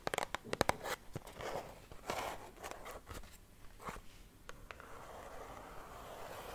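Long red-painted nails tap and scratch a small, hollow, pink printed cardboard Agent Provocateur Fatale Pink perfume box held in both hands. A quick run of sharp, dry taps opens the clip, then softer crackling scratches, and it ends in a steady rough scraping hiss.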